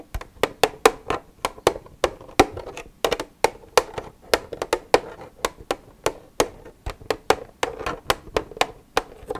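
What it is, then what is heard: Empty plastic milk jug. Long red nails tap the side of an empty, hollow white plastic milk jug with a green cap. About 33 quick, dry clicks come in an irregular rhythm, each with a hollow body near 445 Hz and a bright edge. Every tap dies away almost instantly, leaving little low end.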